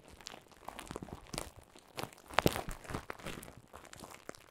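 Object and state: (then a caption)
Plastic bubble wrap being crinkled. Clear plastic bubble wrap laid over a microphone is squeezed and crinkled with fingers. Dense, quiet crackling and crinkling runs throughout, with short dry snaps and a louder, sharper burst of pops about halfway through.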